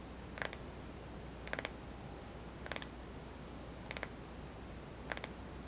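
Fingertips tap across the glass screen of a small white touchscreen smartphone with a hollow plastic body, held in one hand. Five brief clusters of quick, dry clicks recur every second or so, each a few rapid taps with a bright, hollow tick around 1.6 kHz. A low, steady hum sits underneath.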